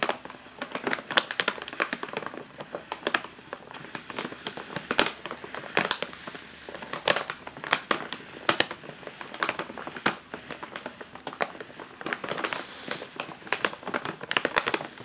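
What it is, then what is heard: Plastic chip bag being crinkled. A full, sealed, foil-lined plastic chip bag rests on a table while a fingertip and long nails tap and press its top, crushing the plastic. The result is a steady stream of sharp, bright crinkles and crackles with almost no low end, each snap dying away almost instantly.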